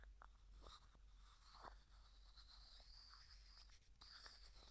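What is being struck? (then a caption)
Small plastic jar with plastic screw lid. A small, hollow, clear plastic cosmetic jar with a white plastic screw lid and a few small items inside is tapped, scratched and twisted by fingertips and nails. The result is quiet, dry scratching and light clicks with bright, high hiss, plus a few short taps that stand out.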